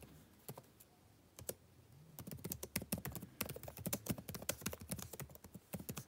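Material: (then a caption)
Plastic. Fingertips tap the plastic keys of a backlit laptop keyboard, beginning with a few scattered keystrokes and settling into steady, fast typing after about two seconds. Each tap is a short, dry click with a bright edge over a soft low thump, dying away almost instantly.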